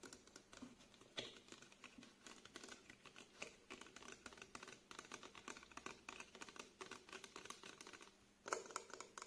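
A small 150 ml plastic face wash bottle with a green cap, likely full of liquid, is held in the hands and tapped and scratched with short nails on its printed label and body. It makes quiet, rapid, dry clicks and scratchy rustles that are bright with almost no low end, each tap dying away almost at once. A brief pause comes near the end, followed by a louder burst of tapping.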